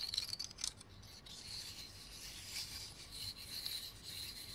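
Fingernails scratch and flick the woody scales of a large, dark, dry, solid pine cone held in the hands. A few quick flicks at the start give way to a steady, quiet, bright rasping scratch with a faint high-pitched tone running through it.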